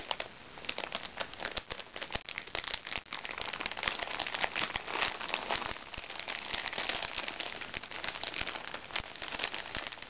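Fingernails scratch and tap the surface of a small, crinkly recycled plastic makeup bag. The result is a steady stream of bright crinkling and crackling with quick, sharp taps and almost no low end. The taps die away instantly, and the sound grows denser partway through.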